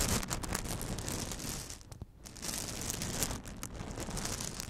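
Long acrylic nails scratch and tap a hollow, dome-shaped microphone cover studded with faux plastic pearls, fitted over the top of a microphone. The result is a dense stream of bright, crackly scratches and quick clicky taps over a low rumble, easing briefly into a quieter stretch midway before picking back up.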